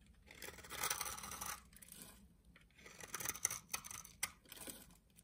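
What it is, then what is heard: Bar of soap being shaved. A solid pink bar of soap held in the hand has its outer surface shaved and cut with a utility knife blade, producing flakes. Quiet, bright scraping and shaving strokes come in two main bursts, with sharper crisp cuts near the end.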